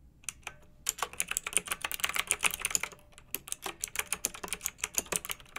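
Fingertips with long nails type on a pink backlit, typewriter-style plastic mechanical keyboard with round, metal-rimmed keycaps. Rapid, bright, crisp clicks come in quick bursts, with a short pause in the middle. Each click dies away almost instantly.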